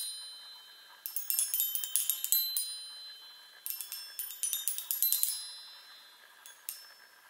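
Long nails tap rapidly on the hollow metal tubes of a small handheld chime set on a wooden frame. Two bursts of quick, bright tinkling notes are heard, each dying away into a soft, high ring before a few last scattered taps.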